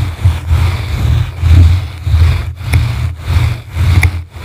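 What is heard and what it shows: Blue plastic-bristle brushes scratch both sides of a yellow foam microphone windscreen. This produces a deep, muffled rumbling scrape concentrated around 90 Hz. It swells and fades in loose, uneven strokes, with faint bright ticks now and then.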